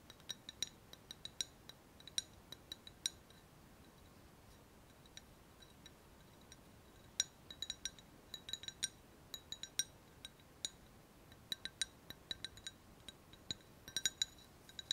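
An empty, hollow clear glass cup with a handle is held in both hands and tapped with long fingernails. The result is many quick, bright, high clinks that stop almost instantly. They come in irregular clusters over a quiet background.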